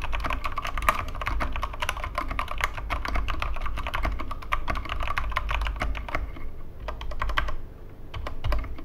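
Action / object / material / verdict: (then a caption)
tap / plastic mechanical keyboard with plastic keycaps / plastic / none. Both hands type with their fingertips on a Corsair K65 Mini 60% mechanical keyboard with plastic keycaps and Cherry MX Red switches, resting on a wooden desk. It makes a fast, steady stream of short clacky keystrokes over a low thumpy body. The typing thins out briefly near the end, then picks back up.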